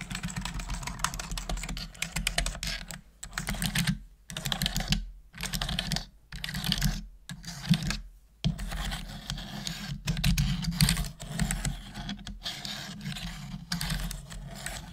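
Long manicured nails and fingertips type steadily on a full-size black plastic computer keyboard with hollow plastic keys. A dense run of quick, bright clicks and clacks is broken by brief pauses, with a steady low hum underneath.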